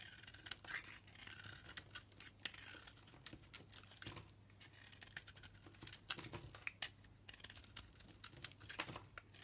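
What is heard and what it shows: A utility blade scrapes across a solid pink soap bar with a purple edge held in the palm, shaving off curls. Quiet, bright, crisp scraping and crackling comes in rapid short strokes, with a faint low hum underneath.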